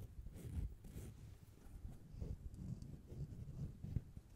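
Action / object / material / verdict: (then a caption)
scrape / foam microphone windscreen / foam / none. A soft, hollow black foam windscreen cover, removed from the microphone, is held in both hands and rubbed and scratched with long nails and fingertips near the bare mic grille. The result is a quiet, continuous scratchy rustling with low, muffled thumps and brief brighter hiss as the foam brushes close to the grille.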